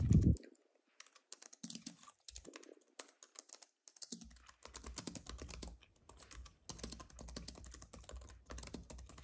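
A compact white keyboard with plastic keys on a thin aluminium base rests on a fuzzy mat while fingertips type rapidly on it with both hands. Quick bursts of light, crisp key clicks run in uneven flurries, with a short low thump at the very start and soft low knocks under the denser runs.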